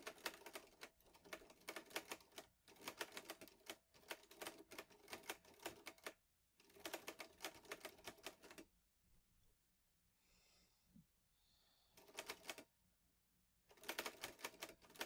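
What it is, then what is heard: Metal portable typewriter. Fingertips type steadily on a vintage teal metal Underwood Olivetti Lettera 22 portable typewriter loaded with paper, producing rapid, bright, crisp key clacks in dense bursts. Typing runs in stretches separated by short pauses, with a longer quiet gap of faint mechanical sounds near the end before the clacking resumes.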